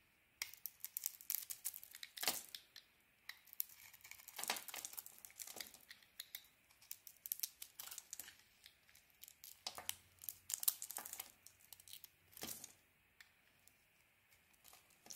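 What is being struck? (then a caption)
Bar of soap. A small metal blade cuts into a solid bar of soap and peels away its red heart-patterned outer layer to reveal the white core. The result is a steady run of quiet, dry, crinkly scraping and flaking, with many short, bright bursts, each crisp and fading almost instantly.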